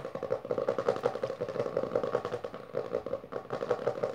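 Long dark nails tap fast and scratch along the lower part of a closed hardcover book with a maroon textured cover resting on purple fabric. The result is a rapid, uneven stream of dry midrange clicks mixed with rough scratching, with very little low end and almost no ring after each tap.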